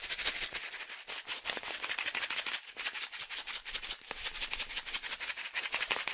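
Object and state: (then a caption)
Foil-lined coffee bag being shaken. A medium resealable green and yellow foil-lined plastic pouch filled with coffee is shaken up and down by one hand. It makes a steady run of bright, crinkling rustles with grainy shuffling from the coffee inside. The sound is almost all in the high range, with very little low end.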